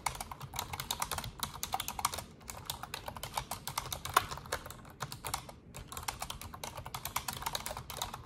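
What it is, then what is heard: Plastic computer keyboard being typed on. Fast typing on an Asus desktop keyboard with black plastic keycaps and a silver frame, struck with fingertips and long orange nails. Quick, bright plastic key clicks patter densely with almost no ring, pausing briefly around two and a half and five and a half seconds before resuming.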